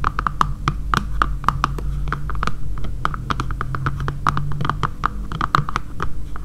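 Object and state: Plastic phone case.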